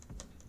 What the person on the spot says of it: you can hear the the tapping sound it makes because it's actually a very thick leaf